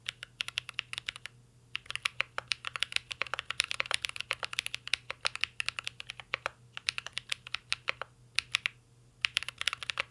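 Fingertips of both hands type continuously on a mint green Cyberboard R3 mechanical keyboard with a metal case and plastic keycaps. Rapid, short, bright clacks come in quick bursts separated by brief pauses, over a faint steady low hum.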